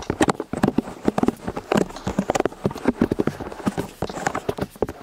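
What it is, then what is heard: Silicone-eared binaural microphone being tapped. Two people tap and scratch the silicone ears of a white binaural microphone on a stand from both sides with their fingertips and nails; the ear pieces sit solidly in plastic housings. The result is a rapid, uneven run of short, dry, muffled taps with low-mid thumps and almost no bright content, with soft scratching between them.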